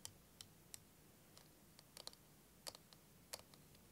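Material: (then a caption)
Plastic. Fingernails tap and click on the walls of a hand-sized, curved clear plastic liquid timer filled with green and blue liquid. Twelve sharp, bright, dry clicks come at an irregular pace, each dying away almost instantly over a faint low background hum.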